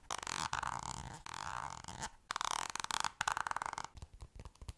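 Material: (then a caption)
Plastic. Long nails tap and scratch the surface of a green squeezable plastic cosmetic cream tube held in a hand. Dense, bright scratching bursts with a hollow plastic tone give way to a quick run of short, dry clicking taps.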